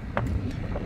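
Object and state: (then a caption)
Hollow interior wall panel. A knuckle knocks on the plastic-like interior wall panel below a room window in a roughly 10-year-old Japanese apartment, a wall that is not concrete or tile. The knocking gives a dull, low, drum-like thud that fades quickly over a steady low rumble. The wall sounds hollow, as if empty inside, pointing to poor insulation.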